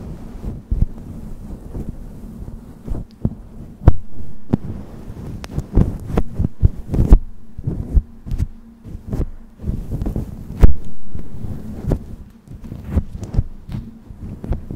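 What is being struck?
Synthetic fur microphone windscreen.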